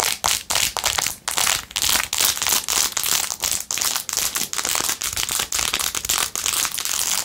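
Long acrylic nails rapidly scratch and tap the blue acrylic rhinestones on a handheld clear/white plastic phone case fitted with a metal ring holder. The result is a fast series of short, bright, crinkly scratching bursts with sharp clicky taps and almost no low end.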